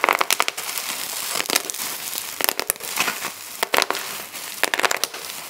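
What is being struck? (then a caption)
Plastic bubble wrap. A heap of clear plastic bubble wrap is grabbed and crushed in a fist, then pinched with the fingers, making the bubbles pop. Quick bursts of sharp, bright pops and crackles cut through a steady crinkling hiss, with almost no low end and the energy centered around 2 kHz.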